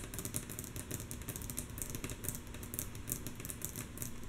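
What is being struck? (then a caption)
Wooden tabletop. Long natural nails of both hands tap quickly and mostly softly on a solid, flat, light wooden tabletop. The result is a dense run of short, bright clicks with very little ring, over a steady low rumble.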